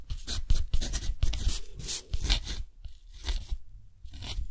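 A metal dip-pen nib scratches across a thick, rough-textured cotton paper sheet held flat by the fingers while writing a line of text. Short, bright scratchy strokes come in quick bursts with brief pauses between, over soft low thuds.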